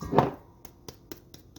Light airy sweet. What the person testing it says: it sounds Hollow supposed to be like spongy